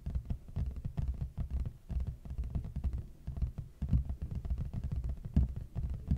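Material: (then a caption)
Cardboard. Fingertips and short nails of both hands tap and scratch the front face of a large, flat, hollow red printed cardboard box held upright facing the mic. Fast, uneven runs of deep, hollow, boomy thumps that die away almost instantly, with faint brushing scratches between them.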